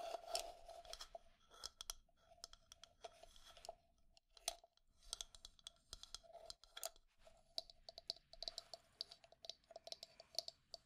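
Long nails tap and scratch the outer wall and base of a hollow, pale wooden cylindrical cup holding makeup brushes, held on its side. Many quick, dry clicks and light scratching strokes come in uneven bursts, bright and crisp with a faint hollow mid tone. Each tap dies away almost instantly.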